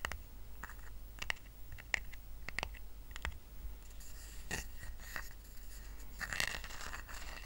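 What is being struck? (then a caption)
Woven rattan coaster. Fingertips tap a small, round, flat woven rattan coaster resting on a blanket, then short nails scratch across its weave. Sharp, dry clicks with almost no ring come first, followed by bursts of bright, crackly scraping over a low, steady background rumble.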